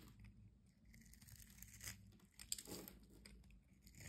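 A solid orange soap bar held in the hand has its scored surface scraped with a metal utility-knife blade, sending crumbs falling. Quiet, dry, crisp scraping and crunching runs throughout, mostly bright with a soft low rumble beneath, and a sharp louder crack stands out about halfway through.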